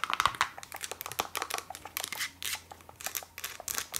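Fast, aggressive tapping on a Lush cosmetics container produces a rapid, uneven run of short, dry, crisp taps with a bright, crinkly top end. Each tap stops almost instantly, with no ringing.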